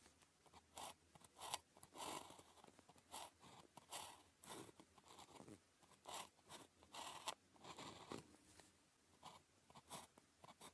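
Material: Paper.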